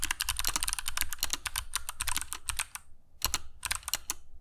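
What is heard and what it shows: Fingertips of both hands type continuously on a compact black mechanical keyboard with dark PBT plastic keycaps and Kailh Box Jade switches, resting on a cork desk mat. Rapid, sharp, bright clicks with a low thud underneath come in quick succession, with a brief pause near the three-second mark before the typing resumes.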